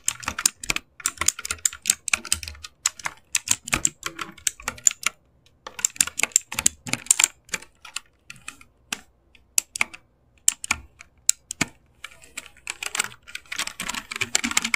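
Fingertips type on the left and right sections of an RGB-backlit mechanical keyboard with plastic keycaps. Bursts of rapid, bright, clacky keystrokes decay almost instantly, with brief pauses between runs. The typing thickens into a dense flurry at the end.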